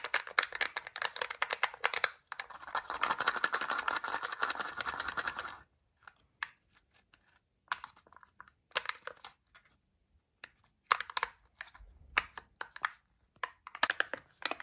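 A flattened oval sheet of thin printed aluminium foil, peeled from a chocolate egg and held between the fingers, is rubbed, crinkled and scratched by fingertips and nails. It starts with a dense run of bright, crackly crinkling and a steady scratchy rustle for about six seconds. This breaks into short, sharp bursts of crinkle separated by near silence.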